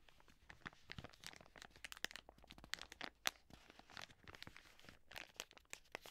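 A full, soft plastic wet wipes pack is held in the hands while long nails scratch across it and the hands squeeze and crinkle the plastic. The result is a quiet, bright stream of sharp crinkles, crunches and scratchy ticks in quick, irregular bursts, with little low end and almost no ring after each sound.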